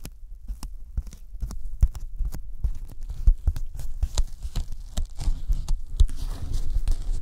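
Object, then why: Thin closed-cell polyethylene foam sheet. Sticky fingertips tap and pull at a thin white closed-cell polyethylene foam sheet held over the microphones. The result is a steady run of soft, dull, low thumps with faint sticky crackles and a muffled, heartbeat-like throb.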